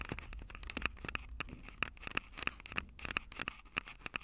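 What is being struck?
Plastic and metal handheld audio recorder.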